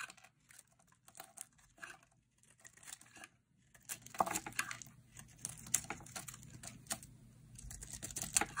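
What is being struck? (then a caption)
Bar of soap cut with a blade. A metal utility blade carves a hand-sized, dry pink bar of soap with a white core, scraping and cutting it into brittle chips. Dry, crisp crackling and short clicky scrapes come in sparse bursts at first, then grow denser and louder about halfway through. The sound is bright and papery, with little low end.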